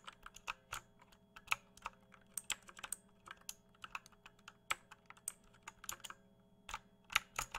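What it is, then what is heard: Plastic mechanical keyboard. A full-size RGB-backlit mechanical computer keyboard with plastic keycaps and a hollow plastic case is held up at chest height and tapped and pressed with fingertips. About two dozen quiet, sharp, bright plastic clicks and clacks come in irregular bursts, each dying away almost instantly over a faint steady hum.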